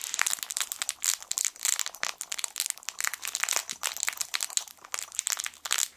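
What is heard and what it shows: A yellow sun-shaped soft fabric crinkle toy with crinkle film inside is squeezed with fingertips. It gives a dense, continuous run of bright, crackly crinkling with rapid sharp bursts and almost no low end.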